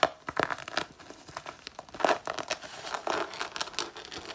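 Long natural nails claw and scratch across the front panel of a worn black faux leather jacket whose soft synthetic leather is already scuffed. The result is a dense run of dry, crinkly scrapes and short rasping strokes with a mid-bright, papery texture. The bursts crowd together too closely to count apart.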